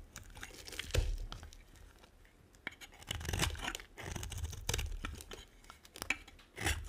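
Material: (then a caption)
Soap. A metal blade scrapes and carves curls off a hand-held dry bar of brown and white striped soap. The result is a series of dry, crunchy scraping and tearing strokes with bright, crisp edges and a low thud under the stronger cuts, separated by quieter gaps.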